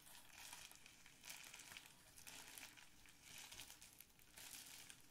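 Fingers squeeze and crinkle the bubbles of a clear plastic bubble wrap sheet up close. Soft, bright crinkling and crackling rise and fall in uneven waves about once a second, with little low end.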